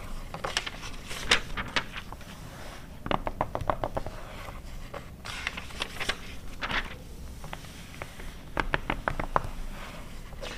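Long red nails scratch and tap the pages of an open glossy paper car magazine from 2009 lying flat, after a page is turned. Clusters of short, crisp taps with bright papery scratches come in bursts over a steady low rumble. The taps stop quickly, with almost no ring.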